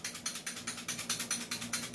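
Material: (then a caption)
Metal. A budget airsoft rifle is shaken to show that its metal outer barrel is not fixed in place. Rapid, bright clicking rattles repeat steadily with very short ring, over a faint low hum. The loose outer barrel rattles with each shake.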